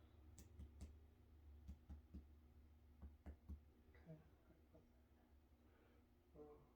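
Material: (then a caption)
Body tissue. During an abdominal assessment, the examiner percusses downward over the liver area of a human abdomen, producing eight short, dull, low thuds with little ring. The solid dull sounds mark a normal liver span of about six centimeters.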